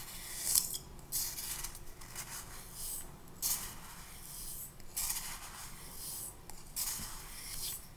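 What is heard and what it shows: A clear plastic spoon stirs and scrapes pink sand or sugar against the walls of a small, clear glass cup that is about half full and held in the hand. Soft, gritty, bright scraping swells and fades in repeated strokes over a quiet, low background.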